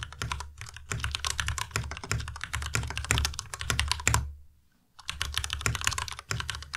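A white Ducky Miya Pro tenkeyless mechanical keyboard with plastic keycaps is typed on with fingertips, producing rapid clacky keystrokes with a deep thocky low end and bright clicks. The typing pauses briefly into silence before resuming at a steady pace.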